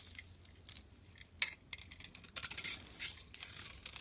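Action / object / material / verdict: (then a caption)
scrape / bar of soap scraped with a metal blade / soap / none. A solid bar of soap with a pink outer layer and a white core, held in the hand, is scraped with a metal utility blade into powdery flakes. Quiet, dry, bright scratching and crisp crackling come in a run of short strokes that grow denser and louder toward the middle, with almost no low end and no ring after each scrape.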